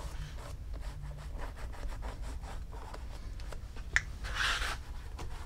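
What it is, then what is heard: Leather loafer being polished. A cloth wrapped around fingertips rubs small circles on a hollow black pebbled-leather Gucci loafer mounted on a shoe stand, working in polish. Soft, rhythmic swishing strokes repeat over a steady low rumble. Near the end a single sharp tick is followed by a brighter, louder stretch of rubbing.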